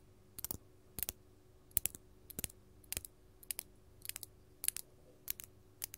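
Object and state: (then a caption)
Glass crystal gem. A large, solid, faceted purple artificial glass crystal held in the hand is tapped with long gold metal filigree finger-claw jewelry. The clip is full of quick, bright clicking taps that arrive in small clusters, each dying away almost instantly, over a faint low steady hum.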